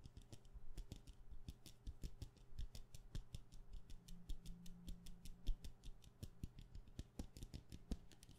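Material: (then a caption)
Wax. A solid white wax pillar candle of medium size, held in one hand, is tapped quickly with long painted nails. A rapid, continuous stream of short, dry clicks sits over a steady low hum, with a faint tone briefly rising near the middle.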